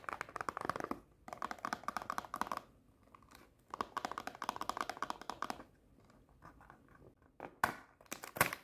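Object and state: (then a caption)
Cardboard snack box. Long painted nails tap rapidly on a small closed cardboard Pocky snack box in fast, typing-like bursts, giving dry, papery clicks centered around 1 kHz with almost no low end and no ring. The bursts stop and start with short quiet gaps, thin to scattered taps, and end with a few louder, brighter cracks.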